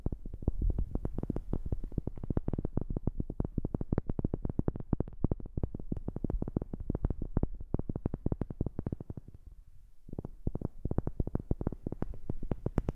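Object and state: Wooden object.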